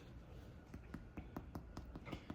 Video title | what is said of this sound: Aussie Pumpkin Scones - Simple From Scratch Snack & a Big Thank You! | when you tap them they sound just a wee bit Hollow